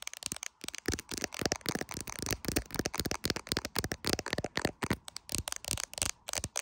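An iPhone in a clear plastic case is held in the hand while long, pointed acrylic nails tap rapidly on its camera bump and the back of the case. The taps come as a fast, uneven run of sharp, bright clicks that crack like crackle, each dying almost instantly with a little low body beneath.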